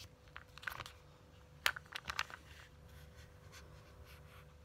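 Long glittery nails scratch and tap the cover of a flat, hollow purple printed cardboard Ciaté eyeshadow palette. Quiet, dry scratching is punctuated by short, bright clicks, with the sharpest taps clustered in the middle of the clip before it settles back to soft scratching.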